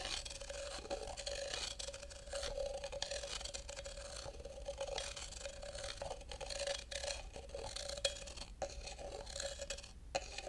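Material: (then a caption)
Wood. A thin wooden stick scrapes around the inside of a tall, hollow, empty carved wooden cup held open end outward, while fingers touch the rim. Steady dry scraping and scratching runs throughout, with a faint tone around 560 Hz and brief ticks and sharper accents near 8 and 10 seconds.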